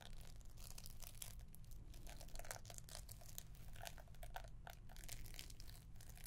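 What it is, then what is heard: Paper-wrapped gift box. Long nails scratch the paper wrapping and gold ribbon of a green-wrapped gift box, making a steady run of soft crinkling, scraping strokes. Bright papery rasps flicker over a constant low hum, with no single sharp hit standing apart.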